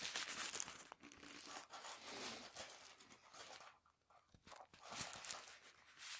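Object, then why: Thin tissue paper sheet. Hands fold a thin sheet of white tissue paper, then bunch it up and crumple it on a table. The result is soft, bright, papery crinkling and light tearing-like rustles in irregular bursts, with a brief quiet pause near the middle.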